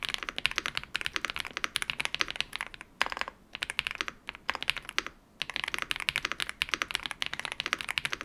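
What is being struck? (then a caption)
Mechanical keyboard with plastic keycaps. Fingertips type on a modded full-size Yunzii YZ98 mechanical keyboard with plastic keycaps, captured by a microphone. It produces a rapid stream of short, bright, clacky keystrokes with almost no low end, and brief pauses just after the 3- and 5-second marks.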